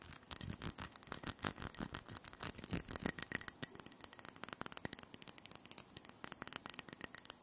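Long painted nails tap and scratch rapidly on a small, hollow, empty white ceramic dish with a scalloped rim, held in the hands. Dozens of quick, bright clicks come with a faint high ringing of the ceramic and brief scratching sounds in between, all dying away almost instantly.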